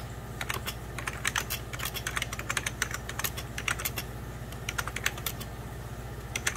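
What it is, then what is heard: Plastic computer keyboard being typed on. Fingertips of both hands type on a hollow, beige 1990s Packard Bell plastic computer keyboard, producing a rapid, uneven stream of short, bright clicks and taps. Each keystroke is crisp and dies away almost instantly, over a steady low hum.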